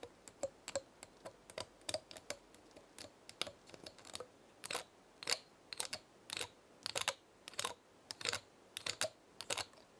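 A small dry pinecone held in the hand has its scales flicked and scratched by long nails, making about 30 sharp, dry clicks spread irregularly across the clip. The clicks are bright and quiet, cut off almost instantly with no ring, and leave near silence between them.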